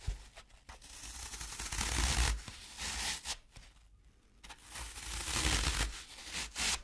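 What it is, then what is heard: Floral foam scraped with a fork. A metal fork's tines are scratched and scraped across the side of a large, round, dry green floral foam cylinder held in one hand, leaving grooves in the solid, porous block. Long, bright, gritty scraping strokes rise and fall with short quiet gaps between them, over a faint low hum.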